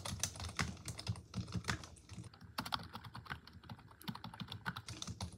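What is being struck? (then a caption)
Plastic computer keyboard. A full-size black plastic computer keyboard resting on a wooden desk is typed on continuously with long acrylic nails and fingertips. The hollow plastic keys are pressed rapidly, producing a steady stream of short, sharp clicks with bright ticks and a soft low thump beneath them.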